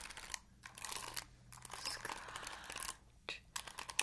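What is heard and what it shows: Long acrylic nails scratch across the ball-tipped bristles of an oval plastic paddle hairbrush, making a dense, bright, crackling scratch. The sound comes in bursts separated by brief quiet pauses, with clicky ticks and almost no low end.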